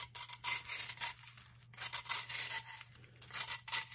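A metal knife blade is dragged down the face of a hand-sized, blue-tinted block of pressed baking soda held upright on a wooden table, shaving off powder that piles below. Bright, gritty scraping strokes come in irregular bursts with short pauses between them, and the sound is dominated by high, crisp rasping.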